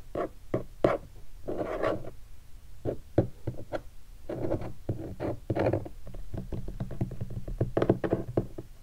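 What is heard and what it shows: Fingertips tap and rub across a large black hardshell guitar case covered in textured leatherette with vinyl stickers, the case standing upright, closed and hollow. A quick, irregular run of dull, hollow knocks with a low boomy body around 580 Hz mixes with soft brushing scrapes over the surface and stickers. Each tap dies away almost at once.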